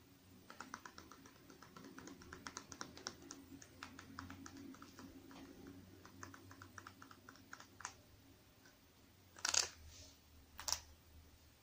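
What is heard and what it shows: A small, hollow, partly filled Clean & Clear plastic skincare squeeze tube with a blue cap is held in one hand and tapped with long painted nails. Quick, light, bright clicking taps run for about eight seconds over a low background hum. Two louder, sharper bursts follow near the end.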